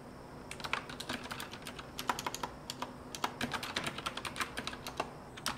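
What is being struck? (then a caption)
Mechanical keyboard with round plastic keycaps on a metal frame. Fingertips type steadily on a full-size retro typewriter-style mechanical keyboard resting on a desk, with a copper rose-gold metal frame and round backlit plastic keycaps. It produces a fast, uneven stream of sharp, bright clicks and clacks that stop almost instantly, with little low end, over a faint steady hiss.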